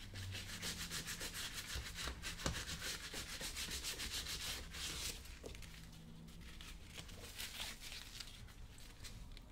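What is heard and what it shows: A blue cloth held in the fingers is rubbed quickly back and forth over the toe and vamp of a brown leather work boot worn on a foot, so the boot is hollow with the foot inside. The rubbing gives a steady, bright, brushy hiss with a faint low thump under the strokes, growing softer and lighter about halfway through.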